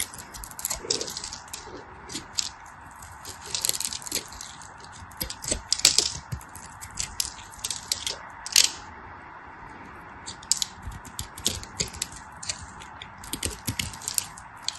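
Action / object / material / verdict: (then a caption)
scrape / bar of soap cut with a knife blade / soap / none. A craft knife blade scrapes and cuts a solid bar of dry orange soap with white stripes held in the fingers, chipping off small flakes. Bright, crisp scraping rasps and sharp little ticks come in irregular bursts over a faint steady hum.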